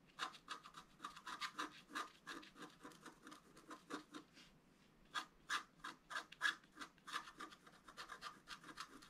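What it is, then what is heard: Scratch art paper board. A wooden stylus scratches lines into a flat, black-coated sheet of scratch art paper board. Quick, dry scraping strokes come in rapid bursts, with a brief pause midway before resuming. Each rasp is bright and papery, centered around 1 to 2 kHz, with almost no low end.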